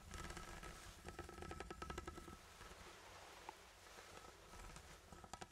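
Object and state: Steel tin can.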